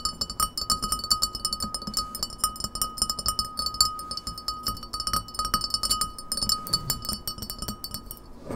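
Long nails tap quickly on the sides of a clear, printed, empty beer pint glass standing on a table. The result is a rapid stream of bright, sharp clicks with a faint high glassy ring that carries under them throughout.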